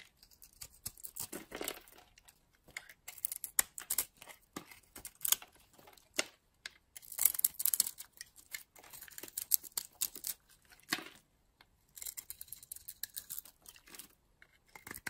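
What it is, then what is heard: Bar soap being carved. A metal utility blade scrapes and carves flakes off a solid bar of blue-green soap held in a hand with long purple nails. The result is a quiet, dry run of bright, high scratching and crisp crinkly cuts, each stopping dead with no ring, with a few short pauses between strokes.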